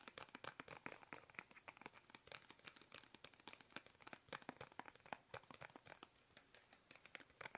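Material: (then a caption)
Plastic. Fingertips tap fast on a small, soft, hollow, squeezable plastic toothpaste tube held upright in both hands. It makes a rapid, continuous stream of dry, crinkly clicks and taps that are bright and thin, with almost no low end. Each tap dies away instantly.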